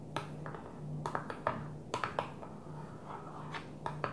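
A flat blue plastic container lid lying on a table is tapped with long nails in an irregular series of light, sharp clicks. Each tap is brief and dry, with a faint hollow ring around 650 Hz and a little bright edge, over a steady low hum.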